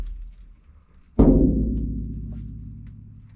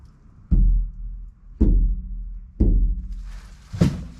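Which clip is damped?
The second.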